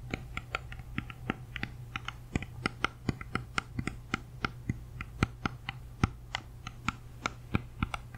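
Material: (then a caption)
Apple. Long nails tap and scratch the waxy skin and stem area of a whole, solid, uneaten red-yellow apple held close to the mic. A quick, uneven run of sharp, dry clicks with bright, crisp edges dies away almost instantly. The clicks sit over a steady low hum.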